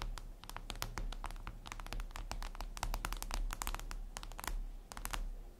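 Long acrylic nails scratch and tap across a flat, solid, reflective glass mirror tabletop surface. A rapid, irregular run of bright, sharp clicks and scrapes sits over a steady low hum. The clicks are short and dry, each fading quickly.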